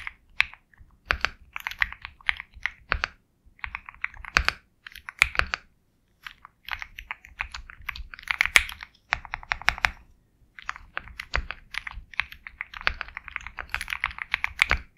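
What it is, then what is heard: Mechanical keyboard with plastic keycaps. Steady fingertip typing on a compact 65% Sugar65 mechanical keyboard with KTT Kang White switches, a black case and white and black plastic keycaps. Bursts of crisp, bright, clacky keystrokes with very short decay come in runs, separated by brief pauses, and carry almost no low end.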